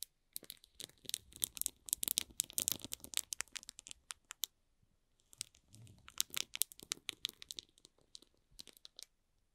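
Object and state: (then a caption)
Shrink-wrapped cardboard box, hollow. Fingertips and short nails scratch and rub the barcode side of a small, hollow cardboard box wrapped in plastic shrink film. Dense, bright crinkling and scratching comes in two bursts separated by a brief pause, with quick, sharp ticks of the film throughout.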